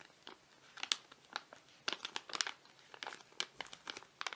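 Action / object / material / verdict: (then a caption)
tap / foil-laminate face mask sachet / foil laminate / none. A flat foil-laminate face mask sachet with a penguin design is held in both hands while fingertips and nails tap and scratch it. Sharp, bright crinkles and taps come in uneven bursts, with their energy mostly above 2 kHz and almost nothing in the low end.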